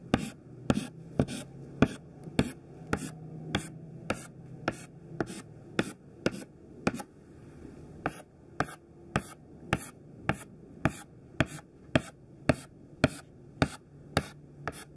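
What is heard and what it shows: A thin white classroom chalk stick makes short repeated tap-strokes in rows on a black chalkboard. About 27 sharp, dry clicks sound at a steady pace of roughly two per second, with a brief pause near the middle and a faint scratchy rasp between taps.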